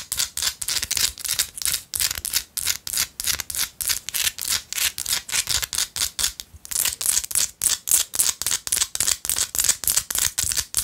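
Long light-blue acrylic nails scratch and tap a small, solid pinkish-orange Himalayan salt rock chunk held in one hand. The result is a fast, uneven run of about 48 dry, bright scraping bursts, roughly three to four per second, with almost no low end and a brief gap near the middle. Each burst cuts off quickly with no ring.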